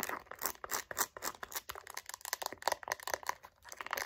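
Long nails tap quickly across a light-blue pebbled faux leather wallet with gold hardware. The result is a rapid, uneven run of short, dry clicks with a crinkly, bright texture and almost no low end. Each tap dies away at once.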